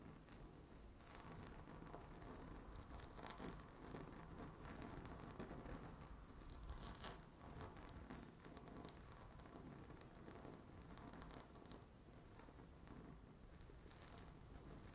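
Long natural fingernails scratch fast across a flat, solid, speckled granite-look laminate tabletop. The result is a dense, continuous crackling rustle at a steady, quiet level, weighted toward the low and middle range with only faint bright grit on top.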